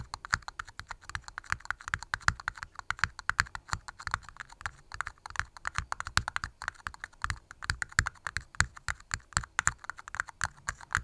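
Long glitter-polished nails tap rapidly and irregularly on two small, hollow, empty red plastic party cups, one held upside down in each hand near the mic. Each tap is a dry, hollow click with a brief plastic ring around 1.4 kHz and a bright tick on top, fading almost instantly in a quick stream that sounds like keyboard typing.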